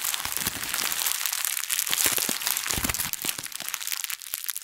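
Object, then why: Thin plastic bag. A thin printed plastic bag is wadded in both fists, squeezed and crinkled with long nails. The result is a dense, bright crackle of rapid crinkles and sharp snaps that runs steadily throughout, with almost no low end.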